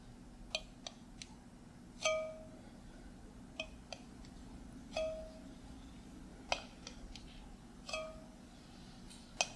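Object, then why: Small glass jar with metal screw lid. A small glass mason jar with a metal screw lid, filled with pinkish contents, is held in the hand while the lid is tapped with fingertips and nails. Twelve irregular, sharp clicks and clinks sound over a faint low hum, with a few taps giving a brief, bright metallic ring.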